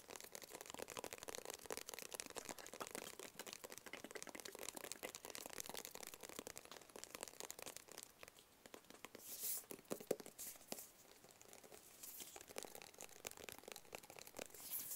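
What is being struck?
Small closed cardboard box.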